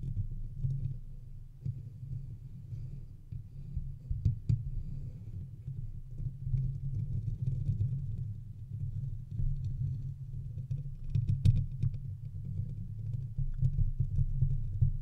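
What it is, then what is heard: Metal microphone mesh grille being scratched. Fingertips and nails of both hands rub and scratch the hollow metal mesh grille of a silver condenser microphone throughout. The result is a dense, continuous low rumbling scrape with uneven swells and occasional sharper, brighter clicks.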